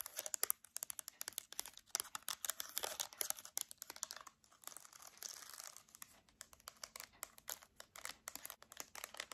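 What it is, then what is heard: Plastic TV remote control. Long dark nails rapidly tap and click the rubber buttons of a hand-sized silver plastic TV remote held close up. The result is a dense run of dry, bright clicks and taps with almost no low end and no ring. Louder bursts come in clusters amid softer scratchy ticks.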